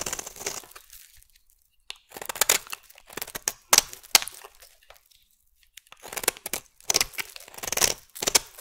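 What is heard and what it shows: A solid, hand-sized purple bar of soap, held in the hand, is scraped and shaved with a metal utility blade, and curls fall away from it. Bursts of dry, bright, crackly scraping come in short runs separated by quiet pauses, with almost no low end.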